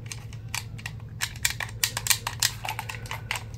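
A black, hollow, hand-sized plastic gamepad is held in both hands while fingertips quickly press and tap its buttons and thumbsticks. The result is a fast, irregular run of sharp, bright plastic clicks and taps over a faint low steady hum.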